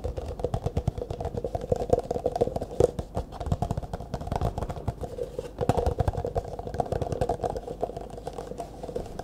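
An empty, hollow, disposable clear plastic cup is held upright in both hands while fingertips and nails tap quickly on its walls. It makes a rapid, steady stream of dry, hollow clicks with a mid-pitched plastic tone near 500 Hz and very little brightness. Each tap dies away almost instantly.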